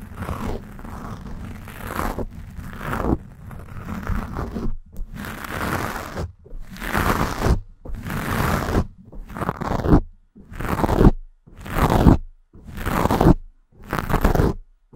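Long acrylic nails scratch and claw at a soft, porous black foam windscreen fitted over the dome of a Blue Yeti microphone. The result is a close, heavy, low-weighted scraping rustle. It starts as a near-continuous scratching, then breaks into separate, slower strokes that swell and stop with short silences between them.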